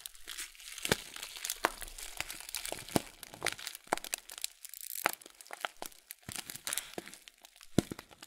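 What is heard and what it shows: A full 500 g blue Kölln oat flakes plastic bag, rotated sideways, is crinkled and squeezed with fingertips. It makes a steady bright crinkling with many sharp crackling snaps and crunches standing out above a soft rustle, and the sound dies away almost instantly after each snap.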